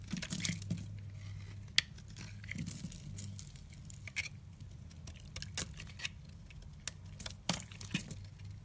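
A red-handled utility knife blade scrapes and peels curls off a solid, yellow, rounded, hand-sized bar of soap held in the hand. Soft, crinkly scraping and bright, crisp shaving sounds come in uneven bursts, with a few sharper clicks over a steady low hum.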